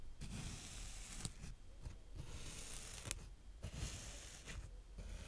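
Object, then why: Kinetic sand raked with a small plastic rake. A small green plastic rake held in the fingertips rakes and pokes through brown kinetic sand in close-up. Soft, gritty scraping swishes come in bursts separated by brief quiet gaps, with a few sharp ticks where the rake catches, all at a low, intimate level.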